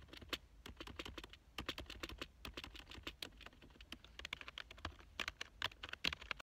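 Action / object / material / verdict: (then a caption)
tap / plastic computer keyboard / plastic / none. A black plastic full-size computer keyboard lying on a couch is typed on rapidly with fingertips. The result is a dense, uneven stream of short, bright plastic clicks with almost no ring, some key presses landing harder than others.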